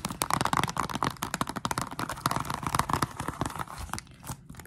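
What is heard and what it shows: Long acrylic nails scratch and tap the back cover of a Nintendo Switch game case, a small, thin, hollow plastic box with a printed paper insert under a clear plastic sleeve. A rapid, dense run of crisp clicks and scratchy crinkles carries a hollow plastic tone near 1 kHz, with each tap dying away almost at once. The tapping thins out and softens toward the end.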